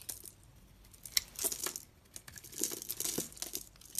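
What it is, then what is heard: Bar soap being shaved. A snap-off utility blade shaves and scrapes flakes off a solid magenta soap bar with a blue inside, held in one hand. It makes dry, crisp, bright scraping and crackling strokes in uneven bursts, with a few sharp ticks and almost no low end.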